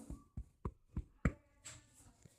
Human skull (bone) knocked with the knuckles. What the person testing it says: एक ठोस आवाज आ रही है